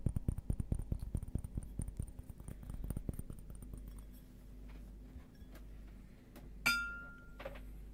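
Glass objects are tapped in a fast run of light clicks for about four seconds, over a steady low hum. After a quieter stretch, a single bright glass clink rings out with a short high tone, followed by a softer tap.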